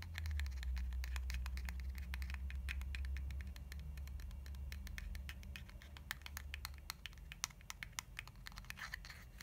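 Long nails tap and scratch along the body of a lilac soft plastic cream tube held sideways. A quick, uneven patter of short, dry, bright clicks and scratches rides over a steady low rumble that fades after the first few seconds, leaving the taps sharper and more distinct toward the end.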